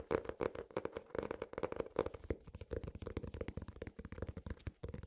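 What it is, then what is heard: Hardcover notebook. Fingernails and fingertips tap and scratch the cover of an ornate hardcover notebook with an elastic strap. The result is a quiet, rapid run of dry, crisp taps and scrapes with almost no ring and a steady mid tone under them.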